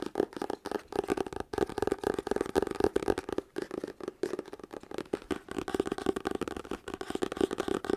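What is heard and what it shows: A medium paperback book with a paper cover, solid and held close to the mic, has its cover and pages tapped and scratched with fingertips and nails. Rapid, dense taps and dry papery scratches come in a fast, uneven stream with a low-mid papery tone. The sound pauses only briefly between flurries.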